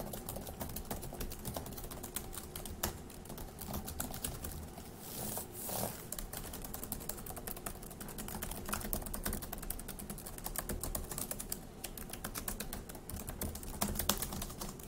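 Fingertips type steadily on the plastic keys of a dark grey laptop keyboard, producing a quick, continuous run of short, dry clicks and taps. A faint steady low hum sits underneath, and a brief soft swishing rises in the middle of the clip.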